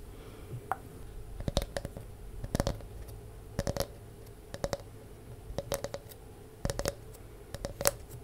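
A palm-sized, round, solid wooden disc with a ridged, grooved surface, held in both hands close to the mic, is scratched and tapped with long nails. Short, dry clicks and taps come in small clusters roughly once a second, each with a faint mid-pitched tone, over a low, steady background hum.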